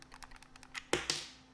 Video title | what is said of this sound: Rakk Talan vs Fantech XD3 Pro - Unfiltered Thoughts | There is some internal rattling with this one, but not as much.